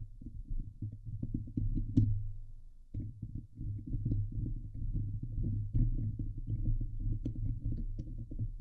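Both hands cup the hollow woven metal wire mesh grille of a fist-sized Blue Yeti USB microphone head, set over a silver metal body, and scratch it with medium-length painted fingernails. The result is a dense, muffled, bass-heavy rumble of rapid overlapping strokes with occasional sharper, brighter ticks. The sound breaks off briefly just before the third second, then continues steadily to the end.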